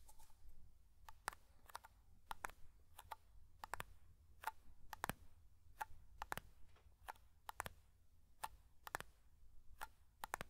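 Fingertips tap the lid rim of a small black metal hair cream (pomade) tin held close to the mic, producing 26 quiet, dry clicks in an irregular rhythm. Each tap is a sharp, bright tick with a faint tone near 980 Hz that dies almost instantly, over a soft low rumble.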